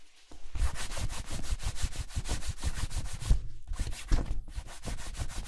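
A cloth strip is buffed briskly back and forth across the toe of a worn black leather ankle boot, then hands rub the side of the boot. The result is a steady run of rapid, rhythmic swishing strokes on smooth leather, with soft low thumps and two brief pauses near the end.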